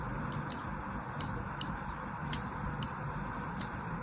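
A thin blade scores a crosshatch pattern into the surface of a solid blue soap bar held in the hand. It produces a series of short, crisp, bright scratching ticks at a fairly even pace over a steady low background rumble.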